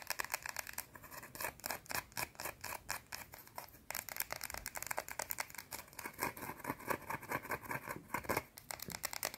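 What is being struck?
Round bar of soap.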